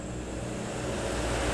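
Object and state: Nothing is struck.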